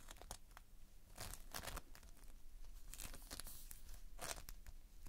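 Fingertips pinch and pull at the surface of multicolored Playfoam, foam beads held in a sticky binder. Quiet, close crackling and tearing bursts rise and fade through the clip, with brighter sticky crunches where the foam pulls apart.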